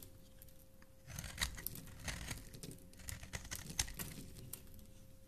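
A metal blade with a blue handle scrapes and carves a solid black and white striped bar of soap held in the hand, curling off shavings. After a quiet first second, a run of crisp, crinkly scrapes and bright hissy strokes follows at an uneven pace. A faint steady hum sits underneath throughout.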